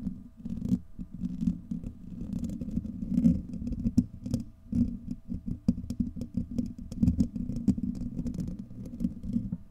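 Fingertips and nails of both hands scratch and rub a hollow, domed steel wire-mesh microphone grille. The result is a dense, continuous run of muffled, low scraping and rustling with quick taps and brief bright ticks.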